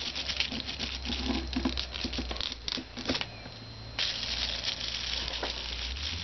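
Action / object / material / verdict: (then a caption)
scrape / plastic bubble-lined mailer envelope / plastic / none. A white plastic bubble-lined mailer lies flat on a desk while fingertips and short nails scratch and tap its bubbly surface. Dense, bright crinkling and patter fill the clip, with a quieter stretch in the middle before the scratching picks back up.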